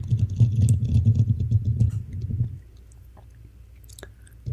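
Long manicured nails on both hands scratch the hollow black metal mesh grille of a Blue Yeti style USB microphone. The result is a dense, irregular patter of scratching strokes with a deep, booming low thump for about two and a half seconds. It then drops to a faint hiss with a few soft, bright ticks.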